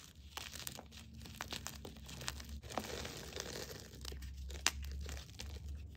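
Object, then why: Gym chalk chunks in a bowl. Fingers crush crumbly fragments of plain white and green gym chalk in a bowl and drop the powder back into it. There is a steady stream of dry, bright crunching and crackling over a low background hum, with one sharper snap near the end.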